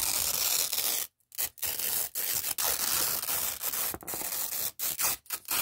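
A long, thin, flat red nylon hook-and-loop strip, stuck to itself on a dark cloth, is peeled apart by fingertips. The result is a series of bright, crackling ripping tears, broken by several short silent pauses.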